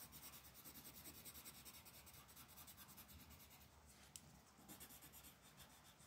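A pink colored pencil with a wooden body and pigment core rubs across a thin printed paper mandala coloring page lying flat on a dark wooden table, with a hand with long black nails resting on the paper. Quiet, steady back-and-forth coloring strokes make a soft, bright, scratchy rasp with a faint low rumble underneath. A single brief tick cuts through partway as the strokes continue.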